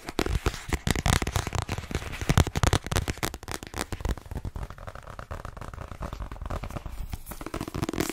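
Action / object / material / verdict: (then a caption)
tap / paperback book with glossy cover / paper / none. A hand-held *Inside Vogue* paperback with a glossy cover is tapped quickly with fingertips and nails on its cover. The result is a rapid, irregular flurry of short, dull taps with crisp nail clicks, heavy in low thump. The tapping is louder over the first three seconds, then settles into softer, denser tapping.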